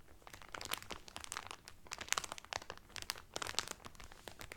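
Hands press and rub the cellophane wrap around a cotton Carnival Cruise towel, crinkling the film. Dense, bright, crackly crinkles come in quick overlapping bursts at a low level, with little low end and no ring after each crackle.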